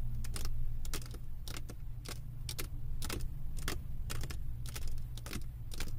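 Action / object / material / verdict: tap / resin drills on a diamond painting canvas board / resin / none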